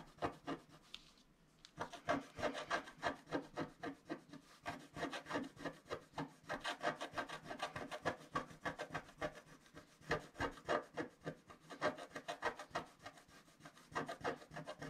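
A wooden stylus scratches repeated strokes across the bottom of a flat, black-coated scratch-art card held down by one hand. It makes a quick run of dry, papery scraping strokes, about three per second, with a short pause near the start. Each stroke is brief and rasping, with bright hiss over a low-mid body.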